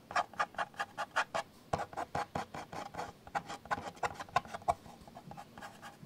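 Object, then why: Plastic camcorder housing. Fingertips and nails scratch and rub the top handle area of a Panasonic 4K camcorder with a black plastic housing, lying on a bed. A quick, irregular run of short, dry scratching bursts is heard, each with a midrange scrape around 700 Hz and a bright hiss. The strokes grow softer and more rubbing toward the end.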